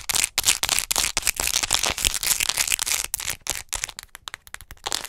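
Long nails tap and scratch fast and aggressively on a hollow white plastic acupuncture model doll held upright close to the mic. The result is a rapid, uneven run of dry, bright clicks and scratchy rasps, each dying away almost instantly, with little low end beneath the crisp plastic chatter.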